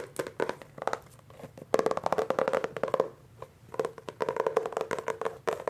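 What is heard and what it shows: A Hardy Boys hardcover book with a solid, glossy laminated paperboard cover is gripped and tapped on the front cover with fingertips. Quick, dry taps come in rapid bursts, with a hollow midrange tone around 445 Hz and almost no ring, separated by brief quiet pauses.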